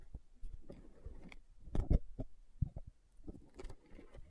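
A large, round, green translucent plastic aloe vera jar filled with gel is held in the hands and tapped and scratched with long nails. The result is quiet, dull, low-pitched taps that stop almost at once, mixed with soft scratching.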